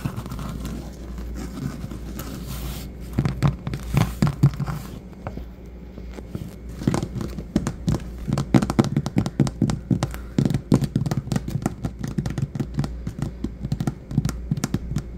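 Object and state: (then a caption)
Vinyl floor. Fingertips with short nails from both hands tap on a solid, patterned vinyl or linoleum floor. A soft, scratchy rustle fills the first few seconds, then dull, short, low-pitched taps come in quick clusters over a steady low hum. The tapping grows denser and louder from about seven seconds on.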